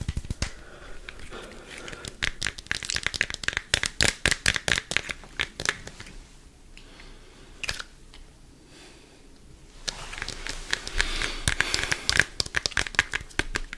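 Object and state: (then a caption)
Plastic deodorant stick. A small Dove deodorant stick in a green and black plastic case is held in both hands and tapped and scratched with fingertips and nails close to the mic. Fast, irregular bursts of sharp, bright plastic clicks give way to a quieter scratchy stretch in the middle. Dense, rapid tapping then resumes to the end.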